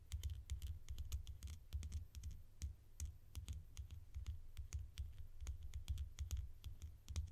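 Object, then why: Small plastic screw cap. A small orange plastic screw cap held between fingers has its ridged edge scratched and tapped with long nails. The result is a rapid, quiet patter of short, bright clicks and scratchy ticks that die away almost instantly, over a steady low rumble.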